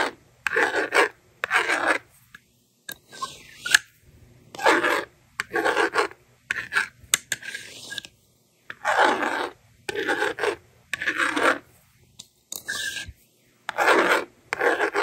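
A yellow plastic stylus writes numbers on a handheld plastic magnetic doodle board in short, dry rasping strokes, broken by brief silences. Now and then the slider sweeps across with a softer scrape, erasing the screen.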